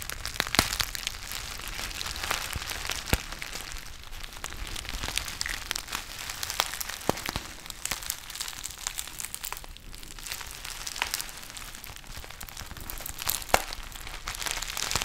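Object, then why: Foil-lined plastic tea pouch. A small, partly filled black foil-lined plastic tea pouch is crinkled and rubbed with the fingertips close to the mic. The result is a steady, bright crinkling with frequent sharp crackles scattered through it, mostly high in tone with little low end.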